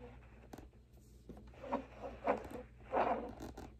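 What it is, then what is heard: Silicone pop-it fidget toy. Fingertips press the hollow bubbles of a large square rainbow silicone push-pop fidget toy row by row. The result is six soft, muffled popping clicks with a mid-pitched hollow tone, each dying away quickly over a quiet background.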